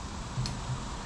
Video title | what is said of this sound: Cutting in to a small pot compressor with open windings! | everything in here is on a spring so whenever you grab these and like move them around you can hear something knocking on the casing